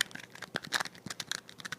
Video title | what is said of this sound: Dopest Thumb Drive on Earth | slides the USB drive in and out of the plastic housing and listen to it just sounds cheap it's just it's literally made of plastic